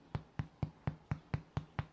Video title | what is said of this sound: Hot Buns - (Ingredients in Description) | could test the doneness by tapping on them and if it sounds hollow you're done